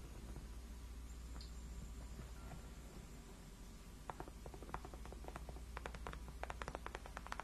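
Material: Faux leather.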